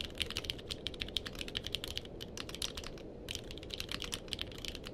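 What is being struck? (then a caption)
Mechanical keyboard with plastic keycaps. A purple-cased mechanical keyboard with plastic keycaps is typed on with the fingertips of both hands. It gives a rapid, steady run of short, bright, sharp clicks centered around 3 kHz over a low background hiss, with a brief pause near the three-second mark. Each keystroke dies away almost instantly.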